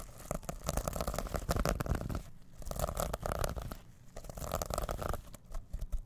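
Fingertips scratch back and forth across the plastic sequins of a small reversible fabric pouch held over the microphone. The result is bursts of dense, crackly rustling over a strong low rumble, with brief quieter gaps between the strokes.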